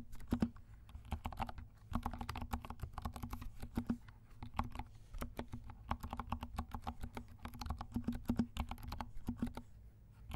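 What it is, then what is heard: Plastic mechanical keyboard. Fingertips of both hands type steadily on a compact 68-key mechanical keyboard with dark plastic keycaps and silent switches. The keystrokes come as rapid, muted clicks and soft, low thuds in irregular bursts, with a faint steady low hum beneath them throughout.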